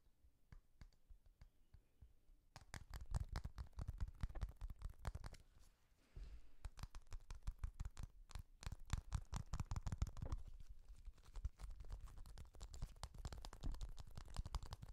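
Fingertips and nails press, click and tap the round pop domes of a small, hollow, orange-yellow plastic pop-button fidget toy held close to the microphone. Quiet, sparse clicks at the start give way to a dense run of sharp, dry taps and pops with a low, thumpy body. There is a brief lull around the six-second mark before the clicking picks back up.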